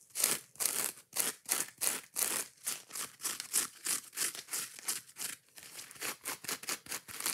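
Long nails scratch rapidly across the green scouring pad side of a foam kitchen scrub sponge. About 26 quick, separate strokes are heard as bright, hissy rasps with almost no low end, each cutting off almost immediately.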